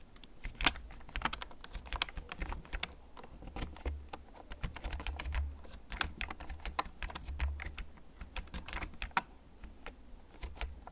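Fingertips type slowly on a full-size black plastic mechanical keyboard with blue backlight and a hollow case, held upright close to the recorder. Irregular, sharp, bright key clicks and taps ring for only an instant, heard over a steady low rumble throughout.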